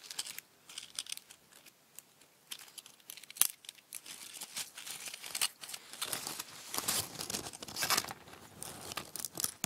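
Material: Dried leaves.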